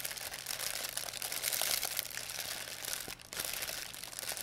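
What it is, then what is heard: Plastic bag crinkling. A thin, empty white plastic pharmacy bag is crumpled and rubbed with fingertips and long nails. The result is a steady, dense, bright crinkling with many tiny crackles and almost no low end. The crinkling briefly drops off just after three seconds, then resumes.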